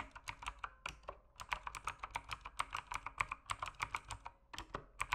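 Fingertips type steadily on a backlit mechanical keyboard with plastic keycaps, producing around thirty quick, crisp clicks in an uneven rhythm. Each keystroke is a short, bright clack centred around 1 kHz that dies away almost instantly, with little low-end weight.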